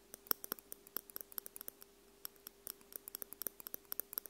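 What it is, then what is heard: Metal microphone capsules tapped with tweezers. Two metal tweezers, held near the tips, tap rapidly on the small hollow metal microphone capsule housings of a Tascam X-Y recorder. Many quick, dry metallic ticks land in an uneven rhythm, each bright and short with almost no ring, over a faint steady hum.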